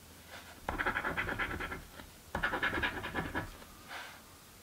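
A coin scratches the coated squares of a thin card crossword scratch-off lottery ticket lying flat on a table, held down by a hand with long painted nails. Two bursts of quick, rasping back-and-forth scratching are heard, bright and gritty with a steady mid-pitched edge, with fainter, softer strokes before, between and after them.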